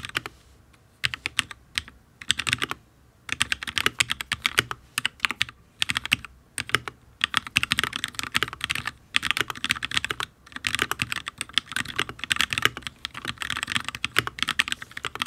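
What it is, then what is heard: Mechanical keyboard with ABS keycaps on a steel plate. Fingertips of both hands type on a full-size HyperX Alloy Origins RGB mechanical keyboard with Fire switches and ABS keycaps on a solid steel plate. The bright, crisp clacks come in quick bursts with brief pauses, each tap dying away almost instantly with little low end.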